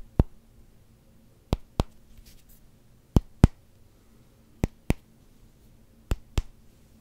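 A solid black rubber hockey puck with a Canucks logo is tapped on its face and edge with fingertips and nails. Nine short, dry taps are heard: a single tap, then four pairs spaced by quiet pauses over a faint low hum. Each tap stops almost instantly with no ring.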